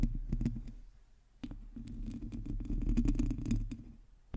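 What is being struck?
Metal mesh microphone grille.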